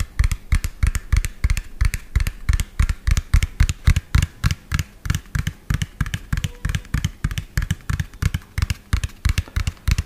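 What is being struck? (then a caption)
Plastic toy dump truck. A medium lime-green hollow plastic toy dump truck with an empty tipper bed is tapped fast with fingernails and fingertips. About fifty quick taps come in an uneven, rapid rhythm, each a short hollow low thump with a faint bright click on top. The taps die away almost instantly.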